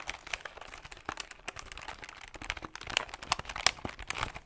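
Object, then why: Plastic desktop calculator buttons. Fingertips tap quickly on the plastic buttons of a plastic desktop calculator held close beside the mic. The result is a fast, irregular stream of short, dry, bright clicks with very little low end, a few taps standing out louder near the end.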